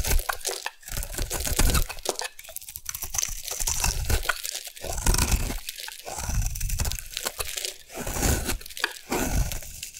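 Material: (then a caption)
Soap. A solid round orange bar of soap, held in hand, is carved with a metal blade into shavings. It gives a steady run of dense, crunchy scraping and crumbling sounds with bright edges, and the shavings break away.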